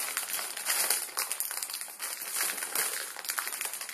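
A full plastic-film ramen noodle packet is squeezed and folded in the fingers, crinkling the film. A dense, continuous run of bright, crackly crinkles with no low end rises and falls in loudness throughout.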